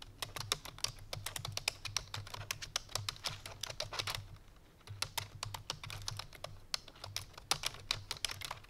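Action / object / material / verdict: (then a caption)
tap / plastic computer keyboard / plastic / none. Fingertips with long painted nails rapidly press the keys of a full-size black plastic computer keyboard resting on a white fur rug. The result is a fast stream of bright, short clicky taps over a low steady hum, with a brief pause just past the midpoint before the typing resumes.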